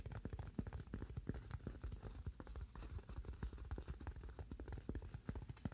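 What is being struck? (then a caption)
Styrofoam slab. A solid, hand-sized white styrofoam slab held in both hands is tapped with fingernails in a quick, steady run of taps. Each tap is a short, dull, low knock that dies away almost at once, with little brightness. The result is a soft, muffled, fast patter.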